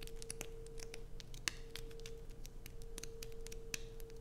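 Long nails scratch and dig into a solid light-blue bar of soap with carved slots, held in both hands. The result is a run of quiet, dry, bright scratches and short sharp clicks over a faint steady low hum.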